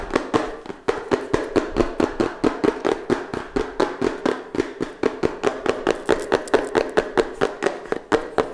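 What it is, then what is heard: Cardboard phone box. Fingertips and nails tap fast on the faces and edges of a small, hollow, closed pink-purple cardboard smartphone box held close to the microphone. The result is a steady stream of dry, hollow knocks with a slight boxy tone around 400 Hz, each dying away almost at once. Roughly 38 taps are heard at an uneven, quick pace.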